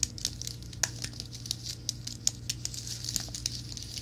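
Fingertips and nails tap and scratch the keys of a slim white plastic and aluminum wireless keyboard, held flat and then upright. Quick, irregular bright clicks sit over soft scratchy rustling and a steady low hum.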